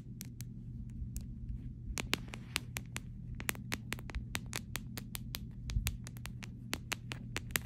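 An empty clear plastic phone case is tapped on its back and edges with short fingernails, giving around thirty quick, dry, bright clicks at an uneven pace. Each tap dies almost instantly over a steady low hum.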